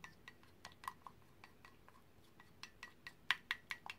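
A paintbrush is stirred in green paint inside a white ceramic mug with a handle, held in one hand, and clinked against the inside walls. A string of light, bright clinks with very short ring rises over a faint background, growing louder and closer together toward the end.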